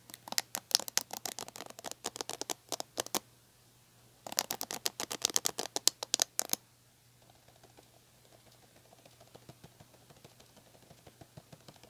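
Long painted nails strum and scratch across the plastic ball-tipped bristles of a medium red plastic paddle hair brush with a black cushion, held by its handle. Two quick runs of sharp, bright, clicky plucks sound over a faint steady low hum. A softer, quieter patter of light scratching follows to the end.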